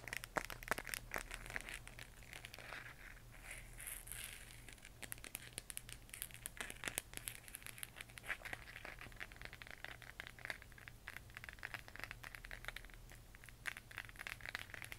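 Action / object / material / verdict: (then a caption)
tap / plastic LED moon lamp sphere / plastic / none. Long nails from both hands tap and scratch a glowing, hollow plastic LED moon lamp sphere about 15 cm across, held close. Rapid, dry clicks and crinkly scratching with a bright edge run throughout, each tap dying away almost at once. A steady low hum sits underneath.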